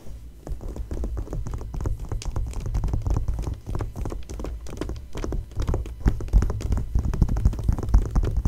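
Fingertips and long nails tap and scratch an open glossy paper magazine spread lying flat. Rapid, irregular soft taps and papery scratches run throughout, with dull, bass-heavy thumps that stop short and little bright content.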